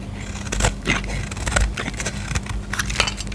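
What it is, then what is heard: Bar soap being shaved. A solid, light green bar of soap held in the hand is shaved into curls with a utility knife blade. Each stroke gives a short, dry, crackly scrape with bright edges, repeating irregularly over a steady low hum.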